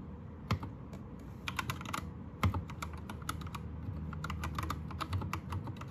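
Fingertips of both hands type on a white 60% Anne Pro 2 mechanical keyboard with plastic keycaps and a pink/red backlight. A steady run of short, crisp clicky keystrokes rises over a low background hum, with a few louder, heavier presses standing out.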